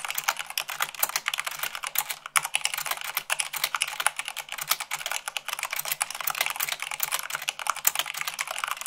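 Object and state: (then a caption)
Plastic mechanical keyboard being typed on. Rapid typing at about 98 words per minute on a white plastic mechanical keyboard, using fingertips and long nails. A dense, continuous clatter of short, sharp, bright clicks with almost no low end, each keystroke dying away almost instantly.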